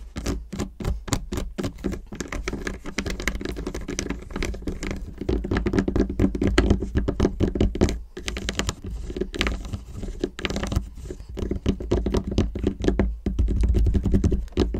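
Long acrylic nails tap fast on the segments of a whole solid milk chocolate bar, unwrapped and lying segmented side up on a table. The result is quick, uneven, typing-like clicks over a dull low thud that continue without a break.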